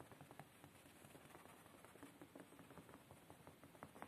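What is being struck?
Padded woven fabric chair seat.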